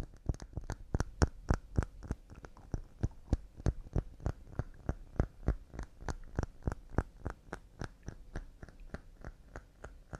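Quick, uneven tapping on pine wood cups: about 33 short, dry knocks in roughly ten seconds. Each has a low hollow thud and a bright click on top, fading almost instantly and varying in loudness from strike to strike.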